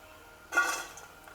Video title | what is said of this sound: કંદોઈ જેવા સોફ્ટ માખણિયા ગાંઠિયા ઘરે બનાવો - Champakali Gathiya Recipe at Home (Kandoi Jeva Soft) | by hearing the sound how crispy these nuggets are